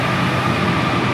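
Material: Nothing is struck.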